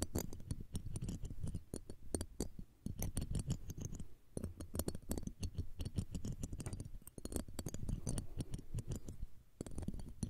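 Tweezers and a fine metal pick scrape across the metal mesh grille of the left of two small cylindrical condenser microphones, while the second microphone stands idle. The result is a dense stream of rapid scratchy clicks and crackles with a heavy low thump, plus faint bright ticks. The scraping dips briefly a few times before resuming.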